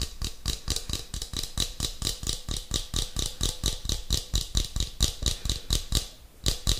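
A small cylindrical metal tin with a purple label and a shiny metal lid is held in one hand while fingertips and nails tap and scratch the lid and side. The result is a steady stream of quick, short taps with a low thump and a bright metallic tick, with a brief pause near the end before the tapping resumes.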